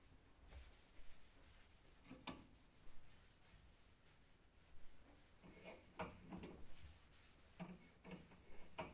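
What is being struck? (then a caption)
Stainless steel oven control panel. A hand rubs and wipes a cloth towel across the width of a large stainless steel control panel on the front of a kitchen oven. Soft, scuffing strokes rise and fade at an uneven pace, with a few brighter swipes over a low, dull background.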